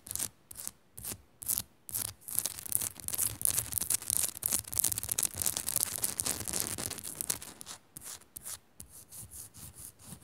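Fingernails scratch quickly over the rough surface of a Himalayan rock salt lamp, making bright, hissy rasping strokes. Short separate scratches at the start and end frame a denser run of continuous scratching in the middle.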